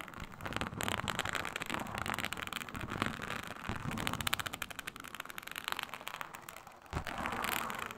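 Long nails scratch across a flat, iridescent snake-scale synthetic leather mat, a snakeskin-textured faux leather sheet. The result is a dense, crackly, bright scratching of rapid short strokes that runs steadily for the whole clip. It dips briefly near the end before a louder burst of scraping.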